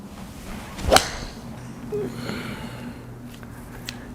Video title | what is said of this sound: Now There's A Surprise!! Titleist T300 Iron VS 718 AP1 Iron | It's a very sort of loudish crack to that.